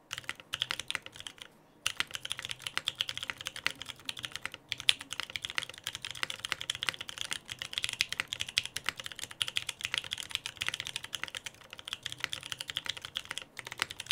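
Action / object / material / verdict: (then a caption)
tap / mechanical keyboard with plastic keycaps / plastic / none. A Frog TKL mechanical keyboard with lubed Pewter switches, a dark case and white PBT plastic keycaps is typed on steadily with the fingertips of both hands. Rapid, bright, short key clacks run continuously for about 14 seconds, broken by a brief pause near the 2-second mark.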